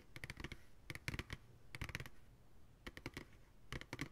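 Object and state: Empty plastic ice cream pail.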